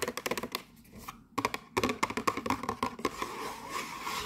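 Long nails tap and scratch the sides and front of a printed cardboard gift box with a window that holds a mug. Quick, dry, papery taps come in rapid bursts, with a short near-silent pause after the first run. The taps then give way to a steadier scratching rustle with a faint hollow ring around 1 kHz.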